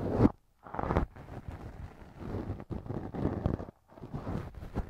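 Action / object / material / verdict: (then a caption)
scrape / silicone ear model rubbed with a wooden earpick / silicone / none. A thin wooden earpick held in fingers scrapes and rubs inside the left ear of a soft solid silicone ear cover mounted on a binaural microphone. Dense, low, muffled scratching and rubbing comes in bursts separated by brief silent gaps.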